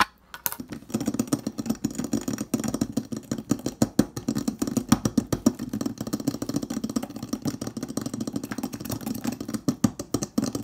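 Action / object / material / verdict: tap / stainless steel refrigerator door / stainless steel / none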